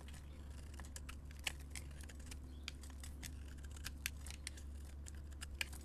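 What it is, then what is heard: Soap bar being scraped. A metal blade scrapes and carves crumbly orange shavings off the surface of a solid orange soap bar held in the hand. Quiet, dry, crisp scratches and bright ticks come in rapid irregular bursts, with a few sharper snaps standing out. A steady low hum runs underneath throughout.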